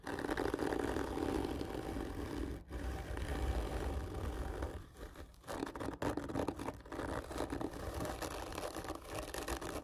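Long nails of both hands scratch hard and slowly along the textured surface of a long, hollow, black printed cardboard gift tube lying on its side. The result is a steady, dense rasping scrape with a hollow low-midrange body, briefly dipping around the three-second mark and again between five and six seconds before resuming.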